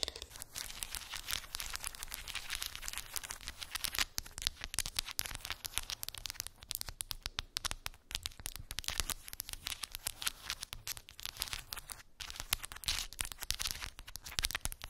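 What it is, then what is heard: Wooden beads on cork board. A small square cork board covered in glued round wooden beads is tapped and scratched with long pink acrylic nails. The result is a dense, continuous stream of quick, dry, bright clicks and scratchy crackles with no ringing.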